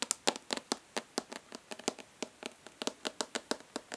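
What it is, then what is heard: Plastic makeup palette tapped with fingernails. A hollow plastic makeup palette is held upright in one hand while long nails of the other hand tap and lightly scratch its embossed lid. About 24 quick, bright, dry clicks follow one another in a fast, uneven rhythm, each dying away almost instantly. Soft scratchy rasps sit between the clicks, with no low-end thump.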